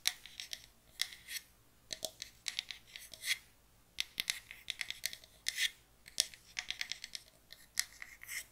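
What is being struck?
Small light pine wooden box.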